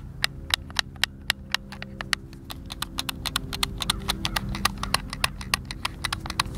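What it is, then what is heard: Plastic game controller. A white, hand-sized, hollow plastic Xbox controller is held in both hands while fingertips and thumbs press and click its buttons. Dozens of short, dry, bright clicks come in quick, uneven succession over a faint low hum, each one stopping instantly with no ring.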